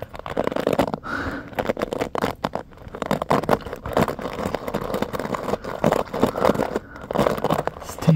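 Fingertips and short nails flick and scratch across the ball-tipped pins of a hand-sized paddle hairbrush with a blue-grey plastic handle and a black cushion pad, which rests on a carpet and is held close. The result is a dense, fast, crackling scratch made of many quick, dry flicks that are mostly mid-range with little bright content.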